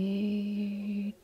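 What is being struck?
Nothing is struck.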